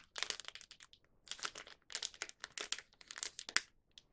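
A small, thin Young Donut plastic snack wrapper holding a donut is held in both hands with the fingertips, turned over and squeezed. This produces quick, bright, sharp crinkles that come in dense clusters separated by brief silences. Each crackle stops almost instantly, with no low rumble underneath.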